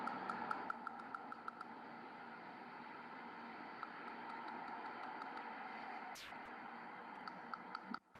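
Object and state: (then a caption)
Ankylosed tooth with metallic percussion sound. A replanted tooth that has become ankylosed (fused to the bone) is tapped in quick, light percussion strikes that give a short, high, metallic ping over a steady background hiss. The taps come in two runs, one at the start and one near the end. The metallic percussion sound confirms the ankylosis, and the tooth has no mobility.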